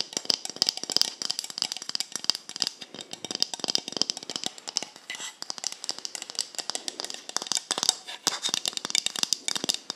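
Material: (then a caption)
Plastic. Long acrylic nails tap and scratch near the black cap of a small, hollow white plastic cosmetic bottle. The result is a rapid, continuous run of sharp, bright, dry clicks with light scratchy texture between them and almost no low end. Each tap dies away almost instantly.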